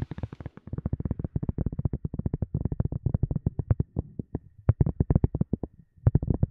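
A round white silicone cup lid, thin and hollow underneath, is tapped with long glossy nails in quick, uneven bursts. About forty soft, dull taps land in the low range around 130 Hz, each dying away almost instantly with no ring.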